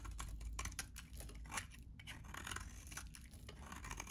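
A hand-held, solid green bar of dry soap is shaved and cut with a metal utility blade, pulling crunchy flakes from its cut face. Quick, dry, crackling scrapes and crunches repeat quietly over a low, steady background rumble.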